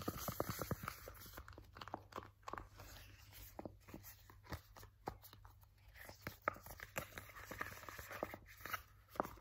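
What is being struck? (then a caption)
Soft plastic cream tube. A purple soft plastic 100 ml Nivea hand cream tube is gripped, squeezed and scratched with fingers and nails. The result is a quiet, uneven run of dry crinkling crackles and sharp scratchy clicks that stop dead with no ring. A steady low hum sits underneath throughout.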